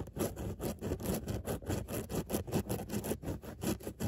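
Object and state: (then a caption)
Fabric car seat scratched with nails. Long nails scratch back and forth over the raised round mesh dots of a padded, soft grey woven fabric car seat, giving a steady run of short, rough, brushing scrapes. The strokes repeat at a quick, uneven pace with a low, muffled body and a faint bright hiss.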